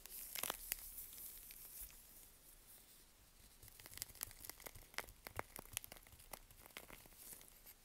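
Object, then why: Bar of soap. A small curved knife scrapes and shaves the edge and face of a solid, dry "Green Tea" bar of toilet soap from Svoboda, held in a gloved hand. The shaving makes bright, crunchy crackling and tearing sounds dotted with sharp little snaps. The scraping softens in the middle, then returns with crisper, louder cuts.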